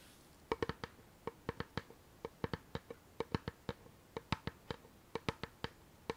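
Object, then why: Small faux-leather covered chest-shaped box with metal studs. Long nails tap and scratch the curved lid of a small, hollow treasure-chest box with a patterned faux-leather covering, metal clasp and studs, held up in the air. About 25 quick, dry, clicky taps come in uneven bursts, each with a brief hollow resonance and a bright edge that dies away almost instantly over a quiet background.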